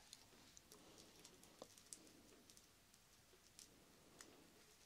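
Long black-painted nails tap a small, hollow, clear glass pitcher with a handle, held in both hands and partly filled with dark red liquid. Thirteen quiet, bright clicks sound over a soft hiss, each dying away almost instantly.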